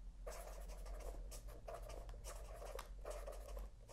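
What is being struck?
Felt-tip pen on spiral paper notebook.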